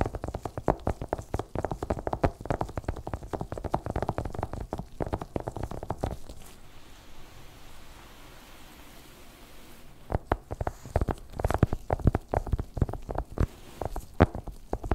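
Fingertips in black nitrile gloves rapidly tap and drum on the top of a long, flat, white cardboard Apple Pencil box, still in plastic wrap and hollow with the pencil inside, lying on a white fluffy rug. The dull, low, hollow taps come in quick dense bursts for about six seconds, fall to a soft quiet rustle, then resume around ten seconds.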